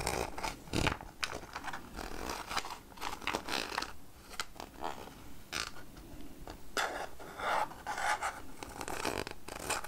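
Long nails scratch along the edge of the ridged red plastic lid on a clear plastic jar full of peanuts. The result is a quick series of raspy, bright scraping strokes, some louder than others, with short gaps between bursts.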